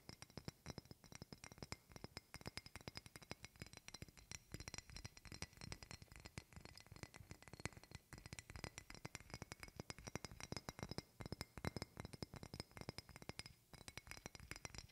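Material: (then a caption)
Glass. A partly filled medium glass perfume bottle with a silver metal cap and a printed label is held in the hands and tapped with long red-painted fingernails. The result is a quick, continuous stream of quiet, short clicks and glassy clinks with a faint ringing tone.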